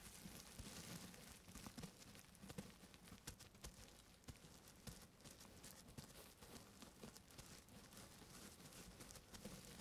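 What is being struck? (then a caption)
Plastic bubble wrap. Fingertips in grey fabric gloves tap and scratch the air-filled bubbles of a large sheet of clear plastic bubble wrap wrapped around a central microphone, working on either side. The result is a quiet, steady crinkly rustle with many soft, closely spaced taps, low muffled thumps, and a bright crackling hiss over the top.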